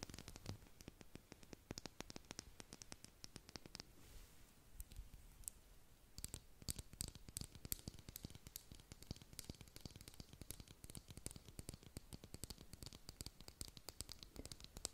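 Long pointed nails tap and scratch along a white plastic makeup brush handle with a metal ferrule, held horizontally. Dense runs of sharp, dry clicks with bright edges sit over a soft scratchy hiss. Around the middle the tapping thins into a quieter stretch of scraping before fast tapping resumes.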